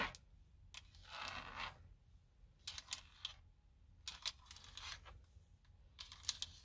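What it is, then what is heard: Plastic steering wheel airbag cover. Long painted acrylic nails and fingertips tap and scratch the hard plastic airbag cover, with its chrome logo badge, on a car steering wheel's centre hub, which is fixed in the car and hollow behind. Sharp, bright clicks come in quick clusters with very short ring, and a soft, hissy scrape runs between them. A faint low rumble sits underneath throughout.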